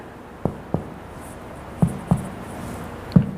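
Finger percussion moves across regions of a human abdomen, producing five short, low, hollow drum-like thuds in uneven groups over a quiet background. Every tap sounds tympanic, indicating a normal abdominal gas distribution.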